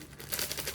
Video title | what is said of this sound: Teknik Memilih PLASTIK yg sesuai dg KARAKTER PRODUK. Jangan salah PILIH.... | pada saat kita penyet atau kita goyang-goyangkan warna ini akan menjadi sangat nyaring dibanding dengan produk poli etilen